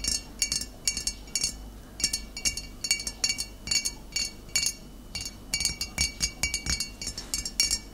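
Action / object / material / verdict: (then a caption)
tap / glass bottle tapped with fingernails / glass / none. Long nails tap the body and shoulder of a full glass bottle of cider vinegar standing upright. The result is a quick, irregular run of bright, glassy clinks and clicks, each with a short, high ring that dies away almost at once.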